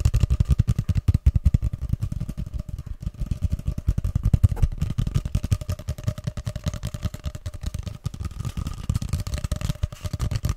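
Fingers tap and scratch along the surface of a long, hollow grey cardboard paper tube held upright. The result is a fast, irregular stream of short, deep, hollow thumps with almost no ring, over a faint steady mid-pitched tone.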